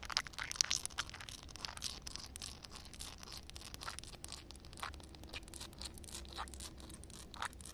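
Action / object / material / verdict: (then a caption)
scrape / wet concrete slab tapped and scratched with fingernails / concrete / none. Long red nail tips tap and scratch a solid wet concrete slab, making quick, crisp, gritty clicks and rasping scrapes that are mostly high and bright. The strokes are dense and overlapping, with sharper peaks near the start and again near the end.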